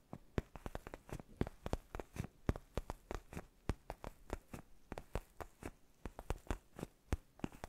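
Fingertips and nails scratch and tap a black padded faux-leather gaming chair neck pillow held in both hands. About 36 short, dry taps and scratches come in a steady, uneven stream, each with a soft, muffled low thud and a quick bright tick that dies away almost at once.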